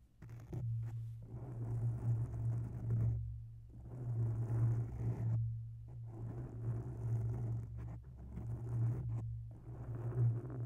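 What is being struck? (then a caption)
Foam microphone windscreen. Long nails scratch the sides and underside of a grey oval foam microphone windscreen. The result is a soft, muffled rustling over a steady low hum near 113 Hz. The scratching comes in several bursts separated by brief pauses as the hands move away.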